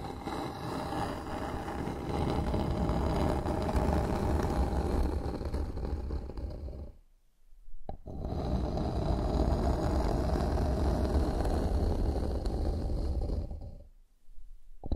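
Long nails scratch across a solid, flat bamboo wooden board lying on a surface, making a dense, low, rasping scrape. The scratching runs in two long stretches, each trailing off into a brief pause.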